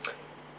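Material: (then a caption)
Plastic. A small plastic Sandman figurine of Pumpkinhead is tapped once against a desk, giving a single sharp, bright tick. The click fades almost at once into faint low hum.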